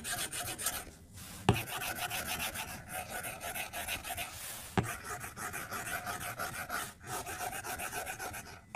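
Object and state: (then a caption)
Glass tablet screen scratched by a stylus. A plastic stylus tip scribbles in quick coloring strokes across the flat glass screen of an iPad, scratching the glass. It makes a steady, dense, bright rasping scratch, with brief pauses and two sharper taps where the tip strikes the screen.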